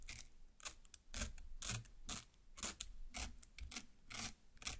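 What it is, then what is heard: Watermelon flesh cut with long nails. A large watermelon half, red flesh up, is pierced and cut through the pulp by one long black nail from each hand. Repeated wet, crunchy bursts of slicing sound bright and hissy, with a soft low thump under each stroke, coming in an uneven rhythm.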